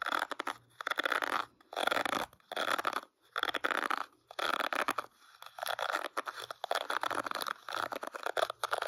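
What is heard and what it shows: Fingertips and short nails scratch and flick across the dense plastic bristles of a hand-sized oval paddle hairbrush with a teal plastic rim and a black rubber cushion, held face-on. Bursts of dry, crackly scratching centred in the upper mids come in quick strokes, separated by brief silent pauses.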